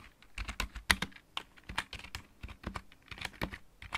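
A full-size backlit mechanical keyboard with plastic keycaps is typed on with the fingertips of both hands. It makes a quick, irregular run of bright, clacky keystrokes with a short, dull thud underneath. Each click dies away almost at once.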